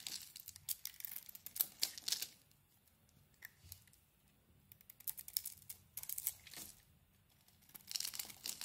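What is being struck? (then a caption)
Bar of soap. A small blade carves a solid, palm-sized bar of soap with a green coating and a white core, held in one hand, scraping and shaving off flakes and chunks. Bursts of crisp, bright scraping and crunchy tearing come in clusters, separated by near-silent pauses.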